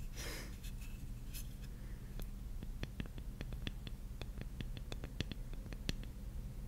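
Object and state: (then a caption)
Wooden puzzle piece tapped with fingernails. A large, flat, solid light-wood jigsaw puzzle piece is held in both hands while long painted nails scratch and tap its surface. A soft, airy scratch opens the clip, then a quick series of short, crisp nail taps with bright clicks follows over a steady low hum.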